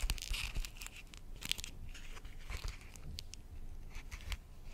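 An empty, transparent soft plastic zip pouch with a "carré blanc" print and black dots is held in both hands and crinkled and squeezed around the microphone. Bright, papery crackles and rustling bursts come and go over a low, muffled rumble of handling. There are sharper snaps near the start and in the middle.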